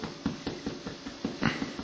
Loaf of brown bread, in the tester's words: you just turn your bread like this and you and you hear the hollow sound